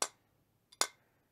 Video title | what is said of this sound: HVAC 081 Liquid line filter drier | it's a definite thud sound because it's solid inside